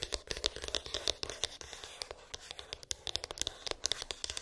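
Long pink acrylic nails tap and scratch a small, hollow white cardboard iPhone box with an embossed, textured lid, its contents unknown. A quick, uneven run of crisp, bright clicks and ticks sits over a dry, papery scratching hiss, with each tap dying away almost at once.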